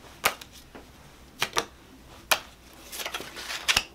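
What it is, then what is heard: Paper playing cards being flicked and riffled. A purple-backed paper playing card deck is split into packets in both hands while fingers spring, flick and snap the cards. Sharp, dry, bright snaps stand out with almost no low end, separated by quiet gaps, then give way to a stretch of rapid clicking riffles before two final crisp snaps.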